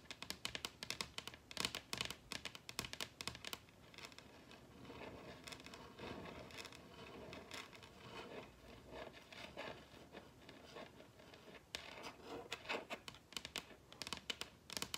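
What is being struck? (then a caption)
Wooden dining tabletop. Long red acrylic nails tap and lightly scrape the surface of a large, solid wooden dining tabletop. Quick, bright, clicky taps come in dense bursts at the start and end. In between is a softer, steadier stretch of scratching and scraping with more low-mid body.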